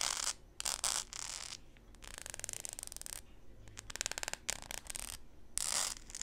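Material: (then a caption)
Plastic. Long pink nails scratch and tap the sole of a blue plastic flip-flop sandal with a studded strap as it lies on a table. Bright, hissy scratching bursts alternate with runs of quick, dry clicking taps that have almost no ring or low end.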